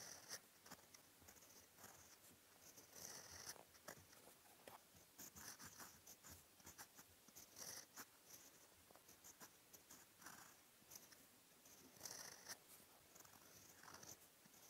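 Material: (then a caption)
Paper. The steel nib of a fountain pen, held in the fingertips, scratches across a sheet of flat white lined writing paper in continuous handwriting strokes. Quiet, bright, dry scratching rises and falls in short bursts with each stroke, with little low end and almost no ring after each scrape.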